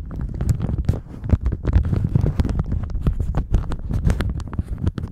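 A thin plastic shower cap stretched over a microphone is squeezed and crinkled with the fingers of both hands. The result is a dense, continuous rustle of sharp crackles over a heavy, muffled low rumble, with quick snaps that die away at once.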